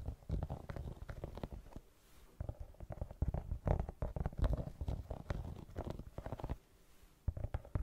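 Long nails rapidly scratch and tap the tread of a brown rubber sneaker outsole with a white rubber rim. The result is dense bursts of dull, low, muffled tapping and rubbing with very short decay, broken by two brief quiet pauses.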